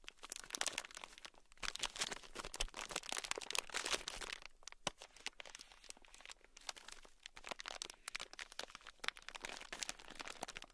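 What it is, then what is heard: Plastic bag full of small beads. A small, sealed, clear plastic bag, full and packed with tiny gold beads, is held in the palm and scratched with a thin black stick. It makes quiet, bright, crinkly scratching and crunching in dense rapid bursts, with a brief pause near the middle. There is very little low end.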